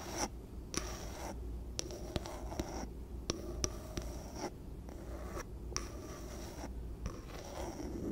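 Long painted nails scratch and tap the sides and wooden bamboo lid of a small, empty, clear glass storage jar with measurement markings, held in one hand. Bursts of dry scratching alternate with short, sharp taps, and a faint high glassy ring sits over a steady low hum.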